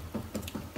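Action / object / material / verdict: tap / wood veneer glued onto a tabletop / wood veneer / solid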